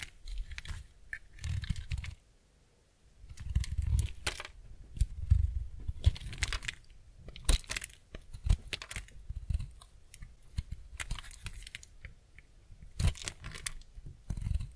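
A utility-knife blade cuts and scrapes slices from a solid, cream-white block of semi-dry bar soap held in the hand. Bursts of dry, crunchy scraping with bright crisp crackles sit over dull low thuds, broken by a short quiet pause just after the second mark.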